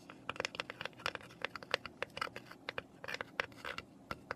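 Long nails scratch and tap the top and sides of a small, hollow, unfinished raw pine box lying on its side on paper. About two dozen quick, dry, clicky taps with a faint hollow knock stand out over a soft, bright scratching hiss, with almost no low end. Each tap stops dead with no ring.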